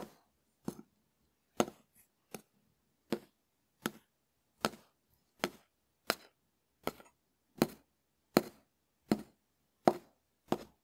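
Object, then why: Dried konjac sponge tapped with a wooden spoon. A hand-sized, hard dried konjac sponge (konjac puff), held in the fingers, is tapped and scraped with the bowl of a small wooden spoon. About fourteen short, dry, crisp hits come at a loosely steady pace of roughly one every three-quarters of a second. Each has a midrange body, a bright crackly edge and almost no ring.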